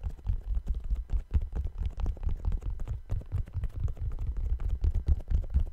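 Fingertips with painted nails tap the upper of a single brown suede low-top sneaker with white laces and a white rubber sole, held hollow and empty in both hands close to a microphone. The taps come as a quick, irregular run of soft, dull, deep thuds with almost no ring, giving a muffled, boomy patter.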